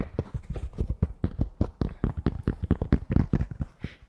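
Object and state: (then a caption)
Polyester fitted baseball cap. Fingertips tap and scratch the fabric crown of a red Toronto Blue Jays polyester fitted baseball cap, held hollow and empty beside the mic. A quick, uneven run of soft, dull taps is heard, low and muffled, with faint scratchy rustle between them. Each tap dies away almost at once, without ring.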